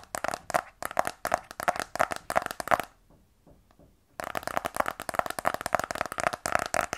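A small, black, rigid cardboard iPhone 12 Pro box, closed and held in both hands, is tapped with fingernails. Quick bursts of dry, hollow clicks with a mid tone pause for about a second, leaving only faint soft rustles. The tapping then resumes in a steadier, denser stream.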